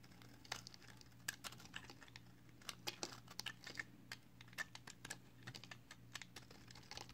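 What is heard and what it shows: A small solid strip of pale green soap is held in the fingers and shaved repeatedly with a box cutter blade until only a thin stick is left. Quick, crisp, bright scraping clicks come one after another at an uneven pace over a quiet, steady low hum, each stroke cutting off almost instantly.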